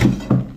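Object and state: Hollow bathtub with no sand bedding.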